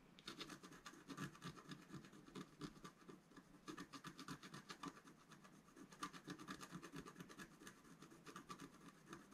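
A wooden stylus scratches the upper right area of a flat scratch art paper sheet held down by one hand. It makes quick, repeated dry scratching strokes with a papery rasp around 1.2 kHz, bright hiss on top, and a soft low rub underneath. The strokes come in uneven bursts with short pauses, and each one cuts off almost at once.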